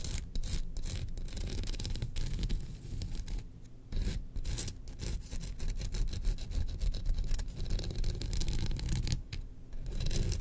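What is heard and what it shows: Long nails scratch along the handle of an engraved bamboo slotted spoon held diagonally. The result is a steady, dense rasping scrape, heavy in low rumble and streaked with bright crackly bursts, that dips briefly between strokes.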